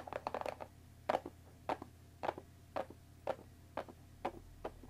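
Long dark nails tap along the top edge of a closed Earl Grey tea box of thin printed cardboard, about 20 cm long and likely full of tea bags, resting on a wooden table. A quick flurry of crisp, hollow taps is followed by a steady series of single taps about half a second apart, each a short, dry click centred around 740 Hz that dies away almost instantly over a faint low hum.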